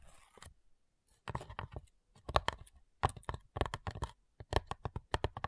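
Long nails tap the front side of a flat, hollow, light wooden cigar box, then move to tapping its lid. The taps come in quick, irregular bursts separated by short pauses, giving dry, hollow knocks with a low body and short clicky edges that die away almost at once. A faint scratchy rustle is heard at the very start.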